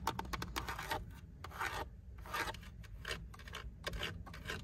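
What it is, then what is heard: Plastic steering wheel hub, tapped and scratched with nails. Long pink acrylic nails tap and scratch across the fixed hard plastic airbag cover with its badge and the silver plastic spoke trim of a Honda steering wheel centre. Quick, dry clicks and bursts of bright scratching come in irregular clusters over a steady low rumble. The taps die away almost instantly with no ring.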